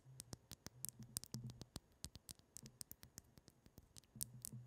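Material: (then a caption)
Glass. Long patterned acrylic nails tap and scratch a pink liquid-filled glass facial cooling globe (ice globe), about 15 cm long with a round ball and a clear glass handle, held in both hands close to the mic. About 28 quick, sharp taps are heard on the ball and handle, each a bright click that dies away almost instantly, in an uneven, rapid rhythm. Soft scratches fill the gaps, over a faint low hum.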